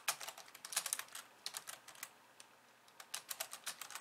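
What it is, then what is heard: Plastic computer keyboard. Long polished nails type with both hands on the plastic keys of a compact pink and white plastic computer keyboard. Quick, irregular bursts of bright, dry clicks and taps with almost no low end, pausing briefly near the middle before picking up again. The clicks die away almost instantly.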